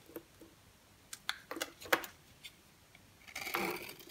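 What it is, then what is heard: Dry bar soap. An orange striped bar of very dry solid soap, held in the hand, is scraped and cut with a green box cutter blade, shaving off crumbly flakes. Several short, crisp, scratchy cuts with a bright edge snap out one after another, ending in a longer rough scrape as the flakes crumble away.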